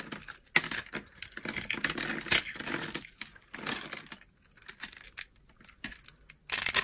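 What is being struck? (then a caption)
Bar of soap scraped with a knife blade. A metal knife blade scrapes across the scored surface of a solid yellow dry soap bar resting on an open palm, crunching off small cubes. The sound is dry, bright crunching and crackling, broken into many short, sharp bursts with brief pauses between them.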